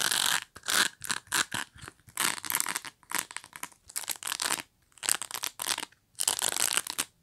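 Long nails scratch and flick the dense, flexible plastic bristles of a hand-sized black pet brush with a solid body. The result is bright, crackling bristle scrapes and rapid ticking flicks, coming in quick bursts separated by short pauses.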